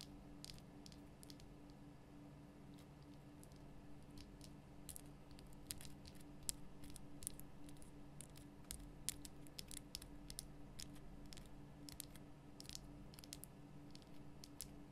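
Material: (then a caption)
Rock salt. Long nails tap the sides of a large, lit pink Himalayan rock-salt lamp, a solid, rough crystal block. The result is a quiet, irregular run of short, bright clicks with almost no ring, over a steady low hum.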